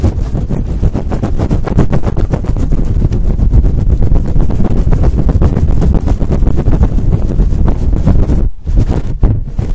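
Fingertips with long nails scratch a fluffy faux fur windscreen on a microphone quickly and steadily. The result is a loud, dense, low rumbling scratch with rapid bursts, briefly dropping out near the end before resuming.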